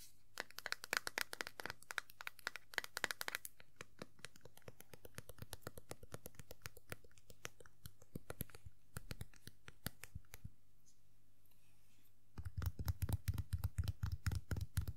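Long nails rapidly tap the top hat brim and crown of a small hollow vinyl Tuxedo Mask Funko Pop figure, making quick, sharp, dry clicks over a faint steady low hum. Bursts of bright ticking give way to softer, lighter tapping and scratchy passages. After a short pause near the end, the tapping returns louder and fuller with a hollow low thump.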